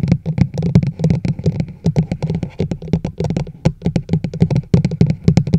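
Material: Plastic.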